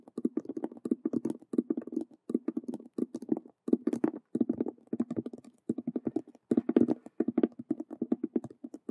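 Long nails rapidly tap and scratch the stitched vinyl squares on two faces of a hollow faux leather Rubik's cube handbag. The result is a fast, dense run of short, dry, muffled clicks and scrapes with a low-mid thump, coming in quick bursts broken by brief pauses.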